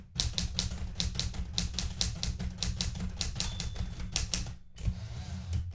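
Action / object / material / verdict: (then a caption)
strike / metal manual typewriter keys / metal / none. Fingertips with red-painted nails type continuously on the plastic keys of a blue metal portable manual typewriter. A rapid run of sharp, bright key strikes rides over a steady low rumble, with a brief pause near the end before the typing resumes.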